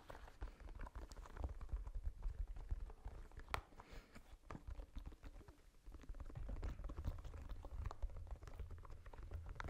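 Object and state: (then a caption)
Rubber spiky massage ball. A small red spiky rubber massage ball is held in the hands and scratched and tapped with long nails and fingertips. The sound is quiet, dense scratching with quick, dry taps that die away instantly, heavy in low rumble with only faint bright clicks.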